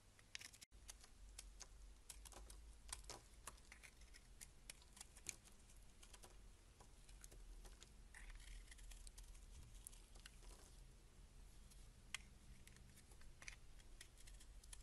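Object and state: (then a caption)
Laundry soap bar being shaved. A box-cutter blade shaves the embossed face of a solid beige rectangular laundry soap bar stamped 72%, held in hand, into flakes. Quiet, crisp scraping and many short, bright clicks come in an irregular patter over a steady low hum.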